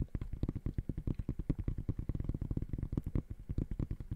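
Fingertips tap aggressively and rapidly on the woven mesh upper of an empty gray high-top sneaker. The result is a fast, steady string of short, dull, low thumps with almost no ring and no bright top.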